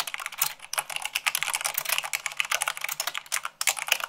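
Long pink nails and fingertips type fast, at about 98 words per minute, on a full-size mechanical keyboard with white plastic keycaps on a black frame. The result is a dense, steady stream of bright, dry clicks and clacks that stop instantly with no ring and almost no low end.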